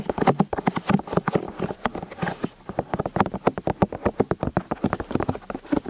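Fingertips and nails tap and scratch the silicone ears of a white binaural microphone on a stand, with the ears set in plastic housings and two people working from both sides. The result is a rapid, uneven run of short, dull tapping thuds with soft scratchy texture between them, mostly low and muffled with little bright content.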